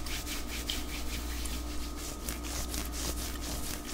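Fingertips and nails scratch and rub along the sleeve and shoulder of a white knit cotton long-sleeve top worn on the arm, with soft fabric over the body rather than anything hollow. The result is a continuous, bright, papery scratching hiss made of quick repeated strokes, steady in level, over a constant low hum.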